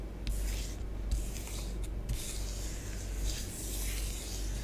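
A long nail tip draws lines and patterns through orange bath bomb powder spread on a tabletop. Soft, dry scratching and hissing strokes come in bright bursts over a steady low hum, and the level stays fairly even throughout.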